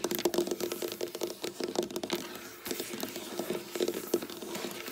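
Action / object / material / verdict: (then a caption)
tap / wooden tabletop / wood / none. Long black nail tips tap and scratch quickly with both hands on a flat, solid, dark wooden tabletop. Rapid, clicky taps with very short ring are mixed with brushing scratches, carrying a faint steady tone near 350 Hz and bright, crisp edges.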